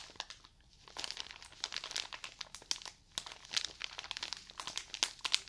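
Fingernails scratch and crinkle the plastic film wrapped around a roll of cotton pads held close to the mic, making a dense run of sharp, bright crackles and rustles. The crinkling comes in bursts with brief quieter pauses, with almost no low end.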